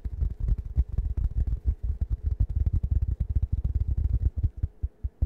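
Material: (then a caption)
Fabric, foam. A round, plush waffle-print cushion made of fabric over foam is held against the microphone and scratched with fingertips. The result is a rapid, uneven stream of deep, muffled thumps and rustles, heavy in the low end with almost no brightness.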